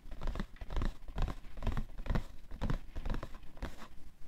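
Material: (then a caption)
Cardboard. Fingernails of both hands scratch and tap the side panel of a hollow, printed cardboard tissue box full of tissues, resting on white fur. Soft, dry bursts of scratching and muffled tapping repeat at an uneven pace, with a dull low body and no ringing after each touch.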